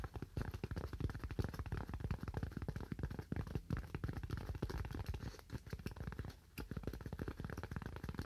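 A solid, white, roughly hand-sized styrofoam slab is held in both hands and tapped rapidly with fingernails. The result is a dense run of short, dull, low taps with a faint crackly edge, with a brief lull around the six-and-a-half-second mark before the tapping resumes.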